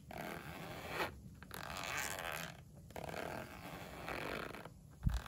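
A pink padded polyester pencil case lies closed on a windowsill, held flat by one hand while fingers with painted nails slide the zipper pull along its edge. Repeated raspy, scraping zipper runs are separated by short pauses, and a brief low thump comes near the end.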